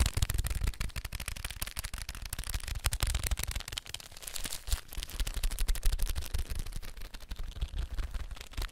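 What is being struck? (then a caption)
Cardboard snack tube with foil lining. A blue Pringles can, a hollow cardboard cylinder with a foil-lined wall, is held upright and tapped with the fingertips and nails. Rapid, continuous taps give deep, hollow thumps mixed with bright, crisp nail clicks for about nine seconds. Each tap dies away almost instantly.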